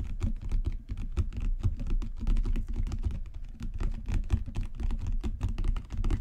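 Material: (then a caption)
Leather. A solid, dark brown genuine leather book cover with raised spine bands is tapped rapidly with fingertips and long natural nails. The result is a dense, continuous patter of soft, dull, low taps with very short decay and bright clicky edges from the nails.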